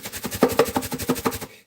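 A jar of onion powder is shaken to break up the chunks inside, with a hard clump of caked powder clacking against the sides of the container. A rapid, rhythmic series of short, dry clacks and rattles continues for about a second and a half, then stops.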